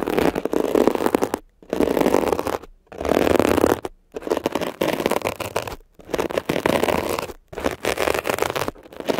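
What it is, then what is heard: Textured foam scrub sponge being scratched. A metal ear pick scratches across a blue mesh-covered textured foam scrub sponge that is pressed down slightly. The result is a dense, rough, crackling scratch focused in the low-mids, with a bright edge. It comes in about six long bursts separated by brief silences.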